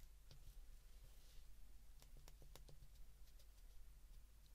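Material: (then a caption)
Plastic. The number keys of an open white plastic flip phone are pressed by thumbs with short nails, producing short, sharp, bright clicks. The clicks are scattered irregularly over a steady low hum that dominates the quiet recording.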